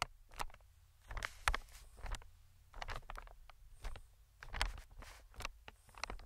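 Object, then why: Inflated plastic-film air cushion tapped with metal tweezers. Metal tweezers tap and scratch the film of an inflated, medium green plastic-film air cushion. Soft, crinkly ticks and brief scraping bursts come in irregular clusters over a steady low hum, each sound dying away almost instantly.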